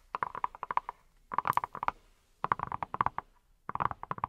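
A hand-sized, yellow, silicone pineapple-shaped brush that appears hollow is held in both hands and tapped with fingertips wearing silicone rubber pads. Four quick bursts of soft, rapid, dull taps with a hollow mid-range tone are separated by short pauses, each tap dying away almost instantly.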